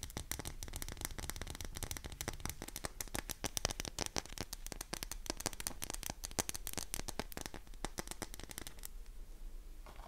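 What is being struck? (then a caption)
Bar of soap. Long nails rapidly scratch and tap the embossed surface of a solid pink oval bar of soap, unwrapped, dry and held in both hands. The result is a dense stream of crisp, bright clicks and scratchy rasps over a faint low hum. The tapping stops near the end, leaving only quiet hiss.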